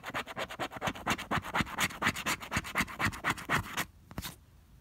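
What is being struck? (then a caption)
Coated cardstock scratch-off ticket scraped with a plastic scraper. A pink plastic scraper is rubbed rapidly back and forth across the coating of a flat coated cardstock scratch-off lottery ticket, no. 048, held flat by fingers. It makes a fast, fairly steady series of dry, bright scratching strokes. The strokes stop just before the end, with a couple of faint final scrapes.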